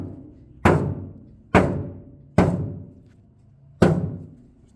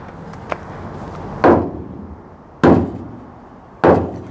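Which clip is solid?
The second.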